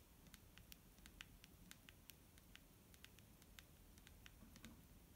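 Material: Plastic.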